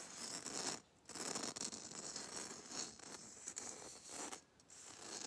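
Long nails scratch and tap the coarse red glitter coating of a small hollow Christmas bauble. A dense, gritty, bright scratching texture runs with brief pauses near 1 second and 4.5 seconds.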